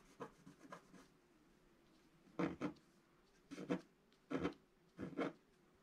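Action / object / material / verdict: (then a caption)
scrape / black-coated scratch-art paper scraped with a wooden stylus / coated paper / none. A wooden stylus makes slow scratches across a flat, black-coated scratch-art paper page. A few soft, faint strokes come first, followed by louder, dry rasping scratches that arrive in short paired bursts, mostly in the low-mid range with little brightness. A faint steady hum sits underneath.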